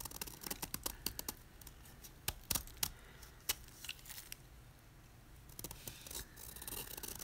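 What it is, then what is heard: Gym chalk block being carved. A utility knife blade scrapes and carves the face of a solid white, palm-sized gym chalk block of magnesium carbonate held in the hand, shaving off flakes. Quick, dry, bright crunches and scratchy clicks come in irregular bursts with short, quiet gaps. Each crunch stops almost instantly with no ringing.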